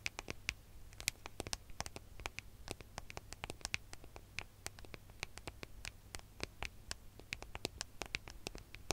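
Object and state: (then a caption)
Metal smartphone back tapped with fingernails. Long fingernails tap and scratch the gold metallic back of a smartphone, giving a quiet, rapid run of sharp, dry clicks with a bright ring near 2.4 kHz. Light scratching fills the gaps, and a steady low hum runs underneath throughout.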